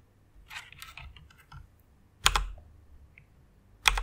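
Long-nailed fingertips type on the keys of a white plastic rainbow mechanical keyboard, producing a quick run of soft, bright, clicky keystrokes. Two louder, sharper clacks follow, each standing apart with a brief gap, and every stroke stops dead with no ring.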